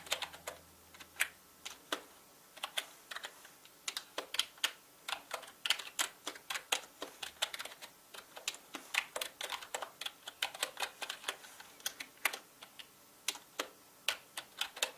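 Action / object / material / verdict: tap / plastic mechanical keyboard keys / plastic / none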